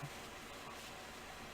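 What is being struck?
Nothing is struck.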